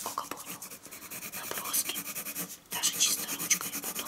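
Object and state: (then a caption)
Colored pencil scratching on drawing paper. A colored pencil held in the hand draws and shades lines on a flat sheet of white drawing paper lying on a wooden table. It makes a steady run of bright, dry scratching and rubbing strokes with almost no low end, broken by a brief near-silent pause just before the strokes resume.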